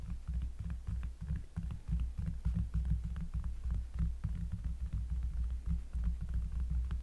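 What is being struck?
Cork trivet board.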